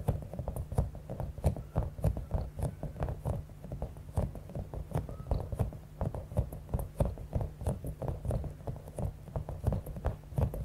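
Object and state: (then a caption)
Bead-filled rubber squishy ball. Long acrylic nails rapidly tap and scratch a palm-sized, clear, soft rubber stress ball with a spiky top, filled with small beads. The result is a steady, quick patter of dull, low thuds mixed with crisp clicks and faint scratchy textures, with no pauses across the clip.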